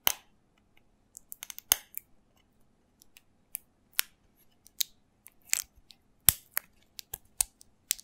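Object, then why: Small plastic bottle with cap. Fingertips and nails tap and scratch the cap and body of a small hollow green plastic shot bottle with its cap on. About eighteen quiet, sharp, bright clicks and ticks come in an uneven run, each dying away almost instantly over a faint steady low hum.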